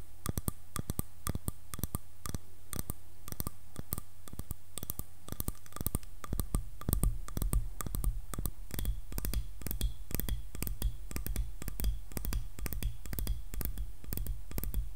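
Long nails tap rapidly across the back and handle of a light, solid wood hairbrush, making quick, crisp clicks that die away almost at once. A steady low hum runs underneath and grows fuller about halfway through.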